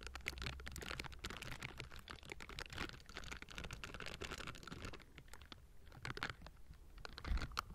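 Both hands in pink silicone bristle gloves cup and scratch the hollow metal mesh grille of a Blue Yeti microphone. The result is a dense, rapid patter of bright, dry scratching and clicking over a steady low hum, with a sharper burst near the end.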